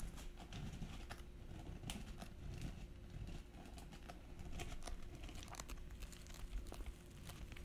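A small, hollow silver glitter fabric clutch purse with metal trim is held in both hands and scratched and tapped with long nails. The result is a dense run of quiet, crinkly scratches and sharp, short taps over a low rumbling undertone, with a faint steady hum throughout.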